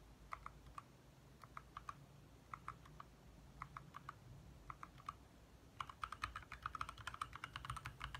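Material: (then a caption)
Plastic. Both hands tap with their fingertips on a compact 60% backlit mechanical keyboard with lit plastic keycaps. Short, crisp clicks centred around 1.3 kHz with a bright edge come in small bursts for the first six seconds, then speed up into dense, rapid typing to the end. A steady low rumble sits underneath throughout.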